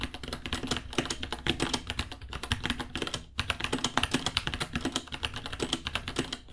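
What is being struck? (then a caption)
Mechanical keyboard with plastic keycaps. Both hands type with their fingertips on a small white 66-key mechanical keyboard with Gateron Brown switches, white plastic keycaps, a hollow case and pink underglow, sitting on a white desk. A steady stream of bright, short clacky key taps rattles along with a brief pause partway through, each tap dying away almost at once.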